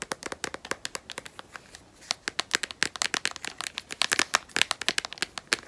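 Long nails rapidly tap and scratch the back of a smartphone in a solid, black matte rubberized plastic case. The result is a dense run of sharp, dry, bright clicks with no low end and almost no ring, easing briefly to quieter scratching near the two-second mark before the tapping picks up again.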